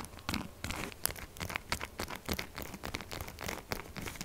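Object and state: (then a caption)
Bar soap being scratched. Long nails scratch fast across the gouged, textured face of a solid pink soap bar. A quick run of dry, crinkly scratching bursts follows, bright and hissy at the top with a soft low rumble underneath. Each stroke stops abruptly with no ring.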